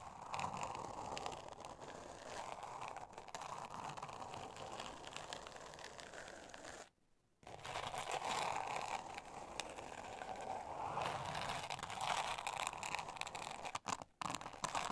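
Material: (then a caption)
Glitter paper. Long acrylic nails scratch the grainy surface of a flat, thin, solid pink board covered in glitter paper, lying on a fluffy rug. The result is a steady, gritty, crackling scratch centered in the midrange with a bright, hissy top. It stops briefly around seven seconds and has a couple of short breaks near the end.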